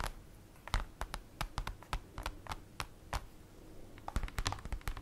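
Long acrylic nails tap and scratch on a large, flat, black printed paper or cardboard folder lying on a table. The result is a rapid, irregular series of short, dry clicks with a low thump beneath and brief scratchy brushes between taps, over a quiet background.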